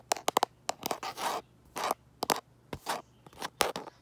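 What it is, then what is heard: Smartphone in plastic case. Fingernails tap and scratch the back of a light-colored plastic case on a smartphone. Sharp, dry clicks alternate with short, bright rasping scrapes, all in the upper-mid range with almost no low end and no ring after each hit.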